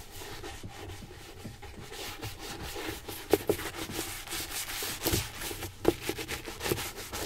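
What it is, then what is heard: Leather ankle boot being brushed. A polished dark leather Magnanni ankle boot, hollow and fitted on a shoe tree in a stand, is brushed with an orange-handled horsehair brush and then buffed by hand with a cloth, with a second boot nearby. The result is a steady, soft, bright rubbing hiss with a quiet low undertone. A few sharper, louder strokes stand out in the second half.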